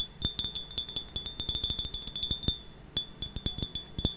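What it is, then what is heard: Ceramic mug. A medium-sized brown and cream glazed ceramic mug with a handle, hollow and apparently empty, is tapped with long painted nails. A quick, uneven run of light clinks rings with a bright, steady tone, with a short pause near the three-second mark before the tapping resumes.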